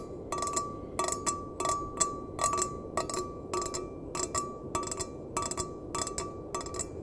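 A small, empty stainless steel mug, held bottom-out, is tapped with the fingertips and nails in quick clusters of light, bright clicks. Each tap gives a short metallic ping that rings briefly around 1.2 kHz over a soft, steady background hiss.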